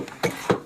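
Knocks on a large wooden beam structure in an ice cave, which is stated to be hollow. Three short taps, a faint one followed by two louder, give dull, hollow thuds centered near 490 Hz. Each dies away almost at once.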